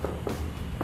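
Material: Plaster.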